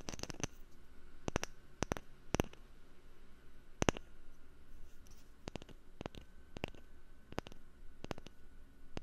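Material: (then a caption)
Wood. A wooden lid is tapped for ASMR, producing quick, dry clicking taps in irregular clusters with almost no ring. Each tap is a sharp, bright transient over a quiet, low background hum.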